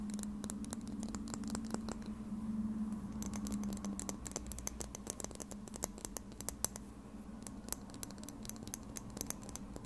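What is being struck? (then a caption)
Small plastic lip gloss tube. Red nails tap and scratch a small plastic lip gloss tube held horizontally in front of a Tascam recorder. The result is a quiet stream of quick, irregular, bright clicks and scratches over a steady low hum that fades after about four seconds.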